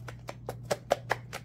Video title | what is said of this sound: What's in my Fragrance Basket? May-June #2023 w/ bonus haul & bodycream demo❗️Did my lotion go bad? | it should not be making that noise it's all curdled inside